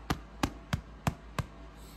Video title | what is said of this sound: FTF Fully Baked: The Easiest Bread You'll Ever Make! | hear that hollow sound that means that all the moisture has come out of this bread and it is done cooking